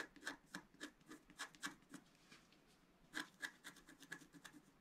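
A pointed wooden stylus scratches the lower left area of a flat, black-coated scratch art paper sheet lying on a table, while the other hand holds the sheet flat. Quick, short, dry scraping strokes come in an uneven rhythm with a bright, papery edge. They pause briefly around the middle before a louder burst of strokes resumes.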